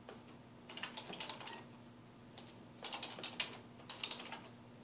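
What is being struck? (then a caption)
Plastic computer keyboard. Fingertips of both hands type on a black plastic computer keyboard resting on a wooden desk, producing quick, bright key taps in several short bursts separated by brief pauses. The clicks are crisp and short, over a faint steady low hum.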